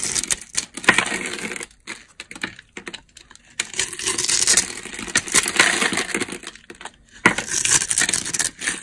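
A utility knife blade scrapes and carves a solid rectangular beige bar of dry soap with a grid pattern, held in the hand. Bursts of bright, dry, crunchy scraping and crackling come in quick runs of tiny ticks, with short pauses between passes.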